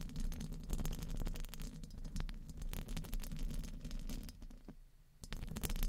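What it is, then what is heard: Metal microphone grille. Very long painted fingernails tap and scratch the round, hollow metal mesh grille of a large studio microphone. The sound is a dense run of quick, dry clicks and scraping over a heavy low rumble. It dips briefly near the end before the tapping resumes.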